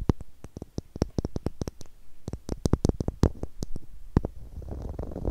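Long nails tap a small, hollow blue plastic screw cap in a rapid, irregular run of dry, clicky hits with a low thud beneath each one. Near the end the tapping gives way to a soft, continuous scratching texture across the cap.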